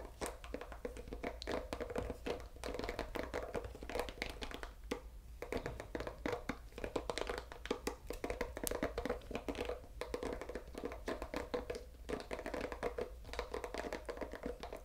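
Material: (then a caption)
Bamboo, silicone. Fingertips and nails scratch and flick the green silicone nubs (bristles) of a solid, oval bamboo pet brush. The result is a dense, steady run of soft, quick scratches and short, dry flicks and taps centered in the low-mids, with little high end and almost no ring.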